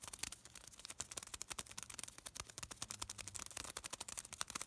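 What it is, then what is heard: Thin paper being crinkled. A small folded piece of thin white paper is held between the fingertips of both hands and crinkled and rubbed. It makes a quiet, rapid stream of sharp, bright crackles and rustles that stop instantly, with almost no low end.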